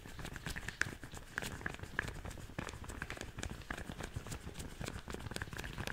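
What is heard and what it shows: Gloved hands in long pink rubber latex cleaning gloves rub, squeeze and pull at each other close to a furry-windscreen microphone. The result is a steady stream of soft rubbery friction, crinkly snaps and short bright squeaks, with a low muffled rumble underneath.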